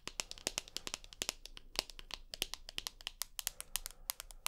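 Long nails tap and scratch along the aluminium frame of a rose gold iPhone with a glass screen, held edge-on. A quick, uneven run of sharp, bright clicks rises over a faint scratching hiss, each tap dying away almost at once.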